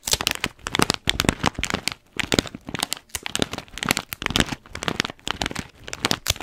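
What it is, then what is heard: Paper-foil coffee bag. Long fingernails scratch and tap the paper and blue tape of an orange paper-foil coffee bean bag held in one hand. Bright, dry crinkling and scratching come in quick bursts, punctuated by sharp little taps, with brief near-silent pauses between bursts.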